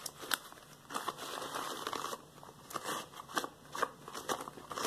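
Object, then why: Latex rubber household gloves. Hands wearing yellow latex household gloves are rubbed together and interlocked over a wooden floor, then rest spread on the floor. Quiet, bright, crinkly rubbing is punctuated by a series of short, sharp rubber squeaks and snaps, with almost no low end.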